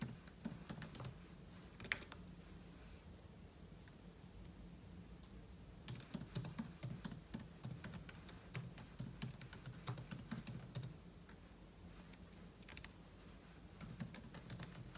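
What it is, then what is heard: Laptop keyboard with plastic keys. Fingertips type quickly on a silver aluminum laptop keyboard with plastic keys, producing dense bursts of short, bright clicks. The busiest stretch comes in the middle of the clip, with quieter pauses between bursts and a steady low hum underneath.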